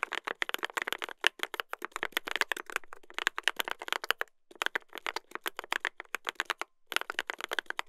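Two hands type continuously with their fingertips on a mechanical keyboard with a brass plate and plastic keycaps. The result is a rapid stream of dozens of short, sharp clacks with a bright, crisp tone and almost no low end, each keystroke dying away instantly. Typing pauses briefly about halfway through and again near the end.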